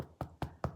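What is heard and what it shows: A first homemade sourdough loaf, baked in a Dutch oven, is tapped three times on its bottom crust, giving short, dull, low knocks with a brief hollow resonance and almost no ring. The hollow sound shows the bread is baked through and done.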